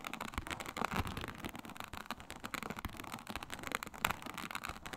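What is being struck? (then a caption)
Synthetic leather mat with embossed reptile pattern. Long nails scratch vigorously across a flat, iridescent faux snakeskin mat of embossed reptile-pattern synthetic leather. A dense run of quick, crackling scrapes and rasps spreads across the range, with sharper, brighter strokes standing out. Each stroke dies away almost instantly.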